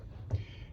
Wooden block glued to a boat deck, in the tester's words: if you hit those with a hammer they make a solid sound of wood attached deck